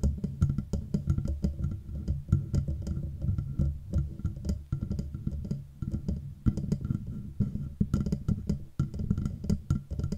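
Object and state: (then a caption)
Metal microphone body. Nails and fingertips tap rhythmically on the hollow, matte black metal body of a Blue Yeti microphone. The quick, dense taps sound low and thuddy with a woody knock, each dying away almost at once. A faint ringing tone sits above them.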